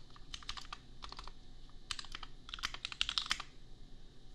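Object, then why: Mechanical keyboard with plastic keycaps. Fingertips of both hands type on a compact $250 custom mechanical keyboard with Gateron Milky Yellow switches and red/pink plastic keycaps. Quick runs of bright, dry key clacks come in bursts separated by short pauses, each click dying out almost at once over a faint low hum.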